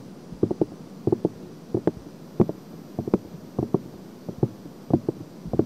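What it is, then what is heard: Silicone microphone ear scratched by nails. Long painted nails scratch and rub continuously across both silicone ears of a binaural microphone. The result is soft, muffled, scratchy bursts that come in quick little clusters, with low-mid thuds and almost no bright content, over a faint steady hiss.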